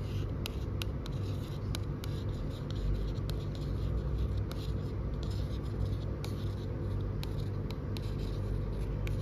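Long acrylic fingernails scratch and tap across the glossy, coated cover of a large, closed hardcover cookbook, "Hamburgers – 50 Easy Recipes," with a die-cut hamburger-shaped cover, standing on a store shelf. Sharp, crisp nail clicks and scratchy strokes sound over a steady low rumble.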